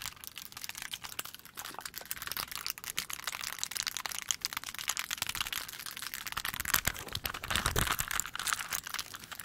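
Long pointed nails tap fast on the faces of a small hand-held plastic 3x3 Rubik's cube with colored stickers and a solid mechanism. The result is a dense, continuous stream of sharp, dry clicks that are bright and high with little low end. The tapping builds slightly louder toward the end.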